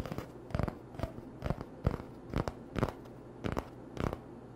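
Short nails scratch along the surface of an empty, hollow cardboard toilet paper tube held on a towel. A series of brief, dry scratching bursts with a low, muffled body sound over a quiet background.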